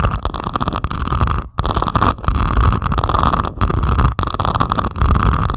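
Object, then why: Resin drills on a canvas diamond painting. Long pointed acrylic nails slowly scratch across the beaded surface of a flat diamond painting made of plastic resin drills on canvas. The sound is a dense, continuous rough scraping with a heavy low rumble and a steady tone near 1.1 kHz, broken by a few brief pauses as the nails lift and start again.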